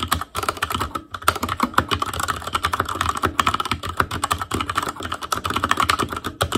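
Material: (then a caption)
Plastic. Fingertips type steadily on the plastic keycaps of a black plastic Asus Claymore Core mechanical keyboard. The result is a fast, continuous stream of short, dry clicks and clacks with a bright tone centered around 1.3 kHz, broken by only a few brief pauses.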